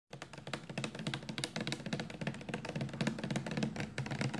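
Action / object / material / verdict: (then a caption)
tap / plastic shampoo bottle / plastic / none. Long painted nails tap quickly on a 400 mL clear amber plastic Johnson's baby shampoo bottle, hollow and full of liquid, first held in hand and then laid flat. The result is a dense, continuous run of short, dry clicks, each dying out almost at once, over a low hollow knock around 210 Hz.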